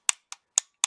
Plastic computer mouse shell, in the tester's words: vous allez le reconnaître au bruit du plastique. Vous voyez, ça sonne sec et creux, donc c'est vraiment du cheap.